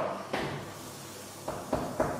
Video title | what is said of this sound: Gugelhupf Vollkornbrot mit 45% Kangen Wasser Das schnelle Brot | Wenn Sie draufklopfen und es ist hohl, es klingt hohl, dann ist es fertig